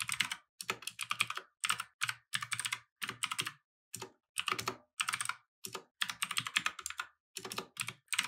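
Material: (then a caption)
Plastic. A compact mechanical keyboard with plastic keycaps on a wooden desk is typed on steadily with fingertips. Quick bursts of bright, clacky keystrokes come in short runs separated by brief pauses, each click dying away almost instantly with almost no low-end thump.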